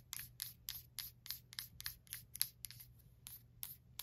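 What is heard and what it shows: Long black nails tap and scratch the side of a small lit glass candle jar filled with wax, with a paper label, standing on a white stand. About 13 short, bright, scratchy taps come in a quick, uneven rhythm, each dying away almost instantly over a faint low hum.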